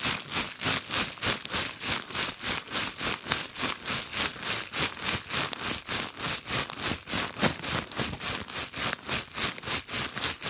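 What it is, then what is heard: Plastic bubble wrap. A bundle of clear plastic bubble wrap held in both hands is scratched and crinkled with long glitter nails in a fast, steady rhythm. The result is a continuous run of bright, crackly, rustling bursts, about three per second, dominated by high frequencies with very little low end.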